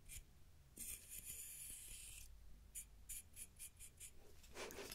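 Fingers and nails pluck and rub the teeth of a large solid wooden wide-tooth comb held up close. A sustained bright, hissy rub across the teeth gives way to a series of short, crisp plucks, ending in a fuller scrape over a faint low hum.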